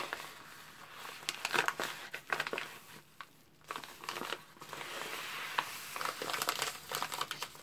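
A white padded postal mailer envelope, flat and sealed, lies on a table while gloved fingertips and palms press, rub and slide across it. The result is bright, irregular crinkling and crackling in short bursts, with a brief quiet lull partway through.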